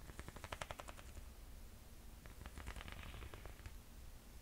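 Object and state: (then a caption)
Sandal with leather and metallic straps and rubber platform sole. Long painted nails tap and scratch a single handheld black, silver and white sandal with black and metallic leather straps and a thick, ridged white rubber/foam platform sole. Quick, dry clicking taps come in two bursts, the first fading out after about a second and the second with softer scratching, all over a quiet low rumble.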